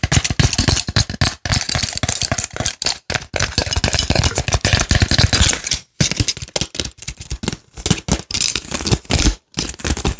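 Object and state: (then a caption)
Empty plastic and foil blister pack. An empty plastic and foil blister pack is bent, crinkled and pressed with fingers. Dense, irregular bursts of bright crinkling and crackling mix with soft low thumps, broken by a few brief silent pauses. Each crackle dies away almost instantly.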